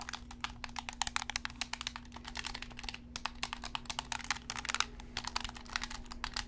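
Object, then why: Plastic gamepad buttons and shell. Fingertips rapidly click the buttons and tap the shell of a hollow, black PlayStation-style plastic gamepad held close up. The result is a dense stream of sharp, bright plastic clicks with almost no ring, over a faint steady low hum.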